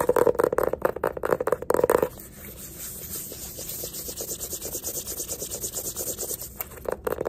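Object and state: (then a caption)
Hardcover sketchbook. Fingertips and nails tap and scratch the cover of a small yellow hardcover paper sketchbook with a label band, held upright in both hands. About two seconds of fast, sharp taps with a hollow mid-pitched knock give way to softer, rhythmic scratching with a bright, papery hiss. A few more taps return at the end.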